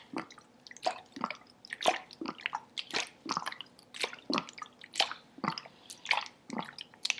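A large, clear, green-tinted plastic sports bottle, hollow and partly filled with water, is held horizontally in both hands and tilted back and forth so the water sloshes inside. The result is a run of irregular, quick, wet sloshing bursts with bright splashy tops and almost no low end, each dying away almost instantly.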